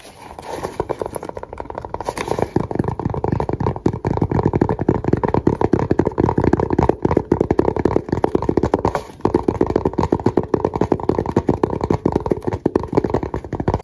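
Fingertips and nails scratch and tap rapidly across the fabric surface of a small black fabric-covered hard case with a red zipper. The result is a dense, continuous stream of dry, muffled scratching and soft taps, with the sound sitting in the low-mid range and no bright top. It dips briefly around the nine-second mark before carrying on.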